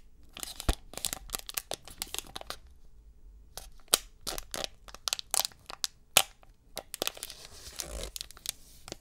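Fingers holding a silver metallized plastic foil wrapper of a 2022 Select UFC trading card pack in both hands peel, crinkle and tear it. The result is a run of sharp, bright crackles and crinkles with a brief quiet pause. It ends in a longer rasping tear.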